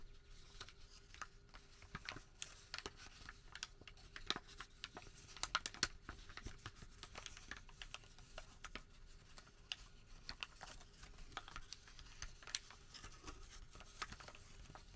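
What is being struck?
Creased thermal paper receipt.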